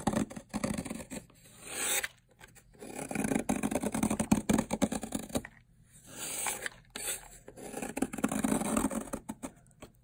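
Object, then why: Bar of soap. A metal blade scrapes and shaves layered flakes off a long, solid bar of dried teal soap. Each stroke gives a dry, crackling, papery rasp with bright high crispness. The strokes come in bursts separated by brief pauses.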